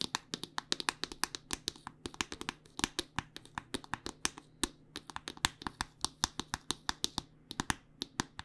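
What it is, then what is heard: Plastic lotion squeeze tube. A white plastic body butter squeeze tube with a pink cap is held upright and tapped with long nails, producing a fast, irregular run of sharp, dry, bright clicks. Each tap dies away almost instantly, with little low end beneath a faint steady hum.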